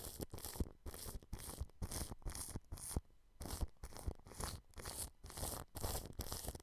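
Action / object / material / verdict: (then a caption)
scrape / plastic cling film brushed with a bristle brush / plastic film / none. A large blue-bristled paintbrush sweeps across clear plastic cling film wrapped over a microphone grille. Each stroke gives a close, crinkly, scratchy rustle with a heavy low thump and bright crackle. Short pauses separate the strokes in a steady back-and-forth rhythm.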